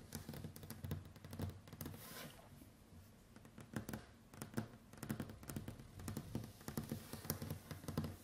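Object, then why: Wooden tabletop tapped with fingernails. Long white acrylic nails drum in sequence on a large, solid, varnished wooden tabletop. The result is a quiet, rapid patter of short clicky taps with a dull, woody low thump under each, coming in bursts with a softer, sparser stretch near the middle. Each tap dies away almost at once.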